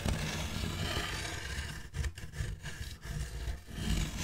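Long black fingernails on both hands scratch a large, solid styrofoam packaging block held horizontally in front of the mic. The result is a dense, continuous scraping and rubbing with a heavy low rumble and a bright, squeaky edge, briefly easing and swelling between strokes.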